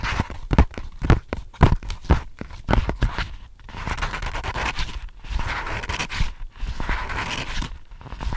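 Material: Paper.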